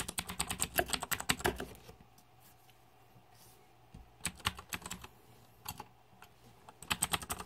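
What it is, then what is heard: Plastic mechanical keyboard. Fingertips type on the plastic keycaps of a green-backlit Razer 2014 Deathadder mechanical keyboard. Quick bursts of sharp, bright clicks and clacks come in clusters, with a near-silent pause in the middle before more short runs of keystrokes.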